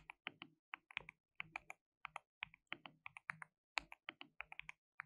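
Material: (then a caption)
Plastic. Fingertips type rapidly on a white RGB-backlit compact mechanical keyboard with plastic keycaps and a hollow case. About 29 quick, bright, clacky keystrokes come in uneven bursts, each dying out almost instantly with a faint hollow body underneath.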